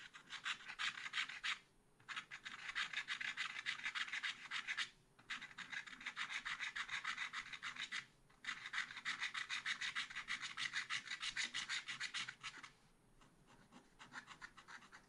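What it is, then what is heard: Scratch-art card being scratched. A long wooden stylus scratches the coating of a thin black scratch-art card in a spiral pad, working near the deer's legs in a drawing. Rapid, bright, raspy strokes come in steady bursts, about three per second, with brief pauses near 2, 5 and 8 seconds. The scratching turns softer and sparser toward the end.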